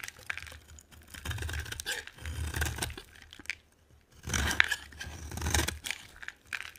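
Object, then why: Bar of soap cut with a knife blade. A solid brown translucent bar of dry soap, held in the hand, is scraped and cut with a utility knife blade. Crunchy, crackling scraping strokes come in several bursts separated by short quiet gaps, with bright crisp edges and a soft low rumble under each stroke.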